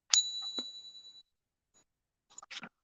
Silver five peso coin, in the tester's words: that rang for a long time it tells me it's 90 silver